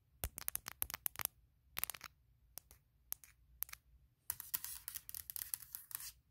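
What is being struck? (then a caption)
Aluminum laptop lid. Long painted nails tap and scratch the top of a closed, large MacBook Pro with a hollow aluminum shell, which is lying on a leather surface. Quick, bright clicks come in clusters separated by short pauses, and then a denser run of scratching and tapping fills the final two seconds. Each sound dies away almost instantly.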